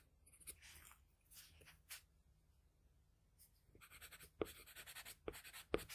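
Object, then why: Graphite pencil on a sheet of drawing paper. A wooden graphite pencil tip is dragged across a flat sheet of drawing paper holding a pencil sketch, in repeated short drawing strokes. Soft, bright scratching comes in brief bursts, with a quiet pause in the middle before the strokes grow denser. A few sharp ticks stand out near the end.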